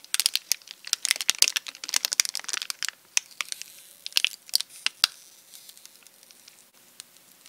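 Bare fingertips of both hands pull, tear and crinkle the metallic foil/plastic wrapper of a small, already opened Nestlé Chunky chocolate bar, chocolate pieces visible, around the solid chocolate on a paper-covered desk. Dense, crisp crinkles and sharp crackling ticks sit almost entirely in the high, bright range with no low end. The crinkling is busiest for the first three seconds, comes in a few louder bursts after that, then thins out to soft, scattered ticks.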